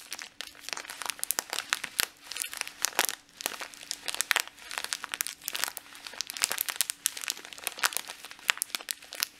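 A medium clear and red printed plastic bag full of dried green lentils is held in both hands and squeezed and crinkled with the fingertips and short nails. Dense, bright crackling and rustling comes in rapid, overlapping bursts, with the lentils shifting and crunching inside. A faint steady low tone sits underneath throughout.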